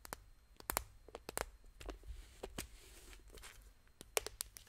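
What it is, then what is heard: Hollow plastic toy egg. A pink, hand-sized hollow plastic toy egg is held in both hands and tapped and scratched with long painted fingernails. Quick, sharp, bright clicks come in an irregular series, with soft scratchy rustling between them. The overall level is quiet.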